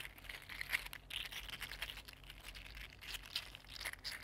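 A mini green 3D-printed plastic articulated slug is bent into a curl and straightened again with the fingertips, its segments clicking against each other. The result is a quiet, dense run of bright, crinkly clicks and ticks with almost no ring, over a faint low hum.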